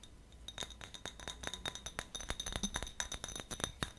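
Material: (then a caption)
Glass. A small, empty, clear glass jar with a gold metal screw lid is held in both hands while fingertips and nails tap and scratch its glass sides. About 28 quick, dry clinks and ticks follow one another over four seconds, each with a bright glassy ring near 3.7 kHz that dies almost at once over a faint scratching hiss.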